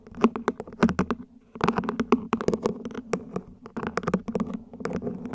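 A plant pot is gently tapped with the fingers, producing a quick, dense run of soft, short taps. The taps carry a dull resonant tone around 230 Hz, and each one dies away almost instantly.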